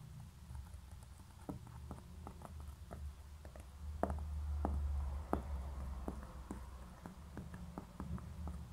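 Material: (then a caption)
Concrete. Long nails tap and scratch the base and sides of a small hollow grey concrete pen holder, turned over with a label on its base. Quick, irregular, dull clicks with a short ring come at a brisk pace, over light scratching and a steady low hum.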